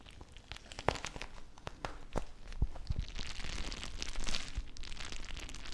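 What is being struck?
Plastic bag filled with gel water beads.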